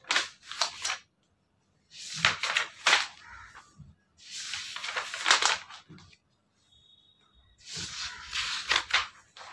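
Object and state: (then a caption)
Paper book pages being flipped. Fingertips flip and turn the pages of a thick paperback book lying flat on a wooden table, its solid stack of white paper pages snapping and rustling. The crisp, bright sound comes in four separate bursts of quick page flips, with short quiet gaps between them and no low rumble.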